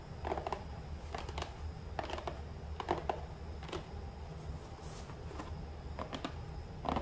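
Fingertips and nails tap and scratch the flat top of a small, hollow cardboard box lying on its side on a counter. Quiet, dry taps with a hollow, boxy tone around 800 Hz alternate with brief papery scratching. A steady low rumble sits underneath throughout.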